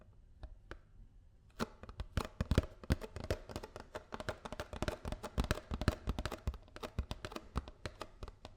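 A paper almond milk carton is tapped with fingers and nails, starting with a few sparse taps before breaking into rapid, irregular tapping. The taps are dry and short, with hollow low thuds mixed with brighter clicks from the nails.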